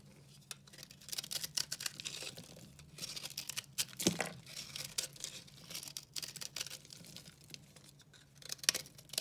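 A solid, dry pink soap bar is scraped and cut with a red-handled utility knife, crumbling into flakes. Bursts of bright, gritty scraping and crackling come and go over a low steady hum, with a few sharper snaps.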